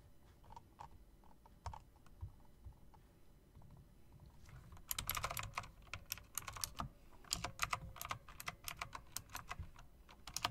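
Long-nailed fingertips tap the keys of a typewriter-style mechanical keyboard with round plastic keycaps and metal rims. Sparse, quiet clicks over a low background rumble give way after about five seconds to denser, louder, bright clacks. Each one snaps off almost instantly.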